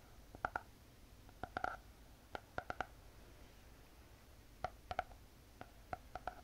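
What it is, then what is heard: Spiral notebook with hard cardboard cover. Long painted fingernails tap and scratch on the hard cardboard cover of a closed spiral notebook. They make short, dry clicks in loose clusters with a hollow, mid-pitched tone and almost no ring. Quiet scratching fills the gaps between the taps.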